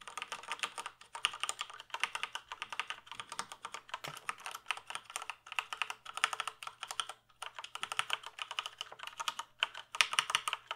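A full-size plastic computer keyboard is held up while fingertips type on its keys. The result is rapid runs of bright, crisp plastic clicks with very short decay, broken by brief pauses, over a faint steady low hum.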